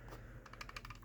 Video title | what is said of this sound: Why I Don't Like Chamberlain/LiftMaster and What I Recommend Instead | these ones, it's just loose. Like, these clips don't seem to fit together as tightly